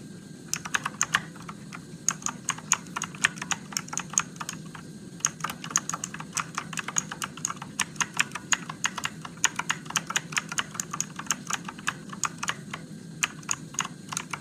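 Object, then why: Plastic mechanical keyboard keys. Fingertips type steadily on a Motospeed RGB-backlit mechanical keyboard with plastic keycaps and blue switches. The result is a continuous run of sharp, bright, clicky keystrokes that cut off almost instantly, over a faint low, steady background.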